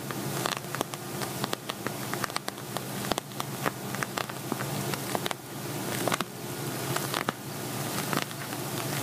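Fingernails tap and scratch across the surface of an empty, hollow silver glitter vinyl zippered cosmetic pouch. Quick, crisp taps ring briefly over a steady, buzzy scratching texture that reaches into the high range.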